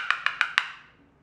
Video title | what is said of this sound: How To Tell If Your Tile Is Going To Pop Off Your Floor | that's not good so it's already starting to split away under this tile